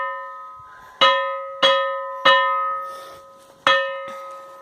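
A stone in a cave in Bahia is struck, ringing like a bell. Four sharp strikes each give a clear metallic tone with stable harmonics near 550 Hz and higher, decaying over roughly a second before the next hit, and the ring carries on from before the first strike.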